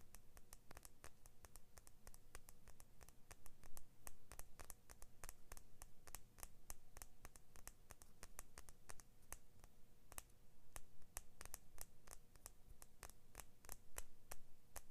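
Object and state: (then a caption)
Steel scissor blade. Fingernails scratch and tap the steel blade of small scissors with orange-blue plastic handles, producing a rapid, steady stream of sharp, bright clicks and scrapes throughout. The taps are quiet and short, over a constant low hum.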